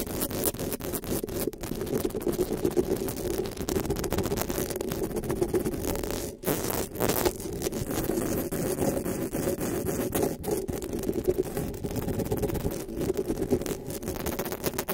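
Long pink nails scratch and tap the metal mesh grille of a black desktop microphone. A steady, close, dense scratching sound with many tiny taps runs throughout, full and warm in the low mids. There is a brief pause around the middle.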